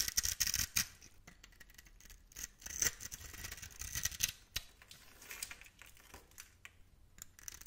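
A blade tool scores and scrapes the surface of a solid, hand-sized bar of white Foxy soap held in the palm, crumbling off small white cubes. Bright, crisp scratching and scraping come in quick bursts, with dry crumbling between them and little low end.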